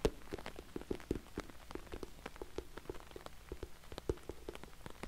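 Fingernails tap rapidly on an orange glossy patent vinyl cosmetic bag, making a quick patter of short, dry ticks that sounds like rain. Each tap dies away almost instantly, with a soft low body around the mid-range and occasional bright clicks.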